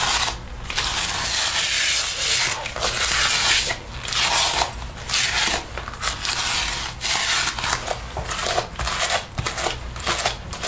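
A sticky paper lint roller held in the hand is rolled and rubbed over the sleeve and chest of a black faux leather jacket being worn. Repeated bright, sticky crackling bursts are heard as the tape lifts off the synthetic leather, separated by brief quieter pauses.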